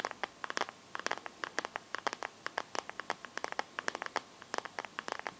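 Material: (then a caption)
Plastic. Fingertips and painted nails tap and scratch the back of a hand-sized Samsung smartphone in a transparent teal plastic case. The result is a quick, irregular run of sharp, dry clicks with bright, crisp edges, each dying away almost instantly over a faint scratchy hiss, with no low-end body.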